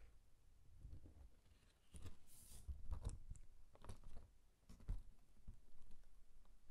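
Fingertips rub a green cardstock card, then open it to reveal a paper pop-up harp and fold the paper back. Soft, dry rustles and crinkly scrapes come in irregular bursts over a quiet, low background. A brief bright hiss rises partway through.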